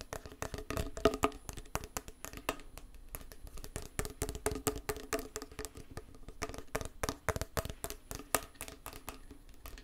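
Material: Metal.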